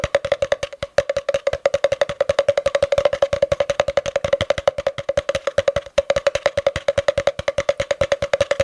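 Fingertips tap rapidly on the outer wall of a long, empty, hollow spiral-wound cardboard tube held upright, producing about 78 quick, dry, hollow knocks. Each knock has a woody tone centered near 570 Hz and dies away almost instantly, with a brief pause near the one- and six-second marks.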